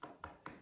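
Three taps on an aerated concrete wall beside a crack give short, dull knocks with a faint mid-pitched ring that fades quickly. The section sounds solid, sturdy enough to hammer corrugated fasteners into.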